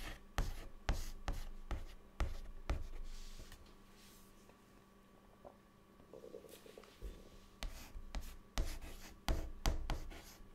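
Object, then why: Chalk stick on a chalkboard. A white chalk stick held in the fingers writes words on a large, flat, dark, solid chalkboard, making a run of sharp, dry taps and scratchy rubs. The strokes come in quick uneven bursts, fade to a quiet, soft scraping stretch in the middle, then pick up again with more clicks and scratches.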